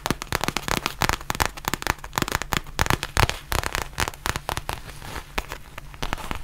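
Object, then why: Faux leather zip pouch. Long nails rapidly tap and scratch a black textured faux leather zip pouch held close to the microphone. The result is a dense, irregular stream of sharp, crackly clicks with bright scratchy texture over a faint steady low hum.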